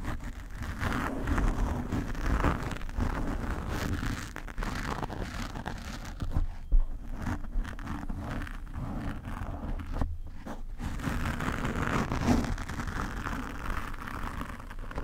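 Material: Foam.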